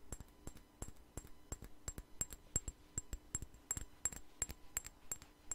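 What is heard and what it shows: A small, clear glass perfume bottle with a white flower cap, partly filled, is held in the hands and tapped with fingernails in a quick, uneven series. Each tap is a short, bright glassy click with a high ringing ping that dies away almost at once, over a faint low hum.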